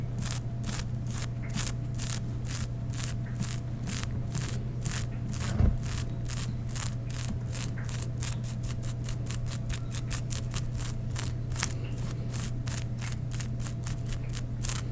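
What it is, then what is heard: Sequin-embroidered mesh fabric. Fingertips and nails scratch and rub along black sheer mesh fabric with floral sequin embroidery laid over skin, making a steady run of quick, bright, crisp scratching strokes. A constant low hum sits underneath throughout, with one brief low thump partway through.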